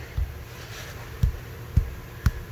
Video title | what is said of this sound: Giant pumpkin pre weigh-off | right here it sounds solid